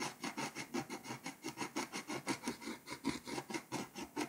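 A scraper tool scratches the foil layer off a flat, foil-coated paper scratch-off map in close-up. About 16 quick, rhythmic rasping strokes are heard, each a short, bright scrape with a papery body, as the foil is worn away.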